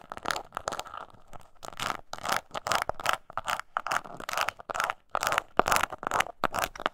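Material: Leather.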